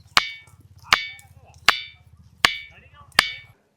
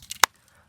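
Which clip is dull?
The second.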